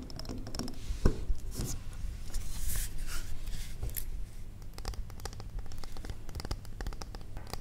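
Long nails tap quickly and irregularly on a large, square, solid wax pillar candle, and the candle is briefly tilted and handled, its top wick visible. The taps are short, dull clicks over a low, soft body and die away almost at once, mixed with faint scratchy handling noise.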